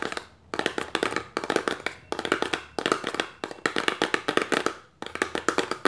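An opened, empty, hollow small paperboard box is held upright in the hand while its rim and sides are tapped with long nails. Quick, dry, clicky taps come in rapid bursts separated by brief pauses. Each tap has a light hollow midrange tone, little bass and almost no ring.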